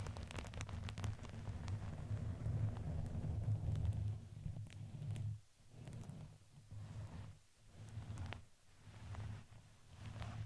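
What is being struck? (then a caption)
Fuzzy fabric ring with crinkly filling. A red fuzzy fabric ring with a crinkly filling, fitted around a microphone head, is squeezed and rubbed with fingers and nails. It makes a dense, low, muffled rustling with soft crinkles and scratchy bright ticks. The sound pulses in uneven swells that briefly drop away between squeezes.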